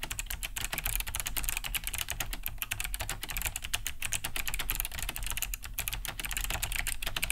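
A large beige Cherry G80-3000 mechanical keyboard with Kailh BOX White switches, a hollow plastic case and thick plastic keycaps, sits on a wooden desk while both hands type fast with their fingertips. A dense, steady stream of bright, clicky key-switch taps runs over a constant low rumble, each tap dying away almost instantly.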